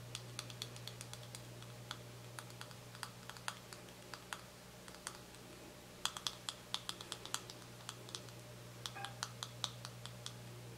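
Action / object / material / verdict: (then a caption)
tap / soft plastic cosmetic tube / soft plastic / none. Fingernails tap rapidly on a small, full, white soft plastic cosmetic cream tube held between the fingers. The result is quick, dry, bright clicks in irregular bursts with brief pauses, each tap dying away almost instantly. A steady low hum runs underneath throughout.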